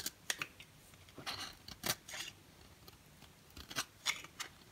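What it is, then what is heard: Dry bar soap being carved. A dry, orange-and-white striped solid bar of soap is held in the hand while it is carved and scraped with a box cutter blade. The result is a series of short, crisp, bright scraping and crunching bursts with a few longer shaving strokes, separated by quiet gaps.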